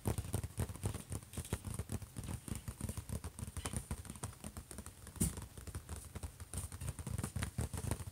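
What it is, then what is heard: Laptop lid. Both hands tap quickly with fingertips and nails on the closed, silver, hollow lid of an HP laptop. The result is a dense, steady patter of short, dull, low thumps with brief clicky edges, with one louder knock a little past five seconds.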